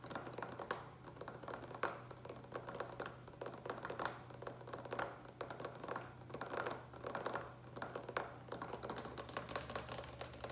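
Fingertips rapidly tap the sides of a large, hollow green plastic pitcher with a lid, apparently filled with water. The taps make quick, dull, hollow plastic knocks in uneven bursts that die away almost at once, over a faint steady low hum.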